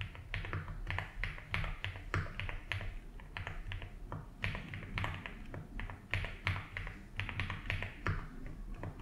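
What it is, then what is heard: Mechanical keyboard with ABS plastic keycaps. A compact blue and white Rainy75 mechanical keyboard with doubleshot ABS plastic keycaps on a polycarbonate plate, in a hollow-sounding case resting on a felt desk mat, is typed on steadily with the fingertips of both hands. Sharp, clicky key taps come in quick clusters, each with a bright upper edge over a low, hollow thud from the case, set against a steady low hum.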